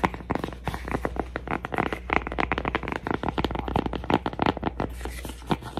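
A cork coaster is tapped and scratched with a rapid, uneven run of dry, soft taps and brief scratching strokes. The taps have almost no ring and are set over a faint, steady low hum.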